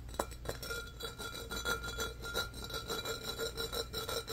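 Fingernails scratch fast along the ribbed surface of a medium-sized, empty, hollow embossed glass pitcher held in both hands. The result is a quick, uneven run of bright, raspy scrapes and faint glassy clinks with short ringing tones.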